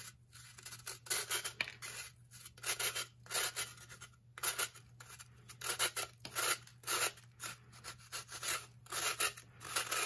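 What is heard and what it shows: A knife edge is pulled in strokes across the face of a solid, blue-tinted pressed baking soda block, shaving it so it leaves ridged grooves and sheds powder. Each stroke makes a bright, dry, gritty scraping rasp, and the strokes come in quick bursts separated by short quiet gaps over a faint steady low hum.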